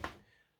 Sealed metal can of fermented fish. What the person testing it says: it sounds solid i can hear the liquid